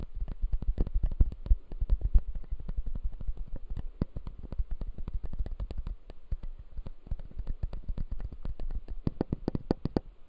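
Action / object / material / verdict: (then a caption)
tap / plastic dental model with acrylic base and plastic teeth / plastic / none. A closed, solid clear acrylic dental model with white plastic teeth is scratched and tapped by fingertips. A steady run of quick, dry, low-heavy clicks and scrapes follows, each dying away almost at once with no ring.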